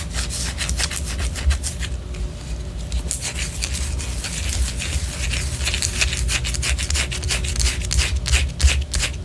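Long orange nails scratch the side of a white solid wax pillar candle, making a steady run of quick, dry rasping strokes. The scratches have a bright, papery texture over a constant low rumble, with no pauses across the clip.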